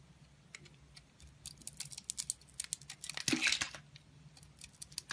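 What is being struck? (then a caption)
Bar of soap. A metal utility blade carves and scrapes layers off a solid oval orange soap bar with dark spots and a pale interior. Quiet, bright, crisp scraping and crackling strokes come in many short bursts, with a louder dense shaving around the middle before tapering back to light scrapes.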